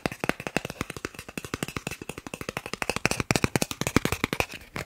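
A thin, solid green plastic gift card is held in one hand and tapped fast with the fingertips of the other. About 42 crisp, dry taps come in a rapid, uneven run, each stopping short with no ring, with a faint thin tone running underneath.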